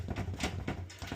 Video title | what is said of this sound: Baking Bread | Nice kind of hollow sound. It's cooked all the way through